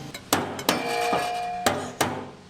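A car's metal fuel tank is whacked several times, partly to get a dead fuel pump going, giving sharp hollow knocks with a brief metallic ring. The tank sounds empty, fitting the car having no gas in it.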